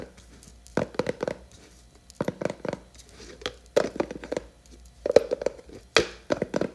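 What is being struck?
Plastic jar with plastic lid.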